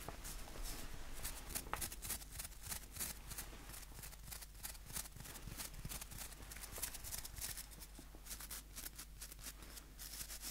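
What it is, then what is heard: Wooden nail brush with plastic bristles. Fingernails flick across the white plastic bristles of a small, solid wooden nail brush. The result is a quiet, rapid, uneven stream of crisp, bright ticking and scratchy flutters over a steady low hum.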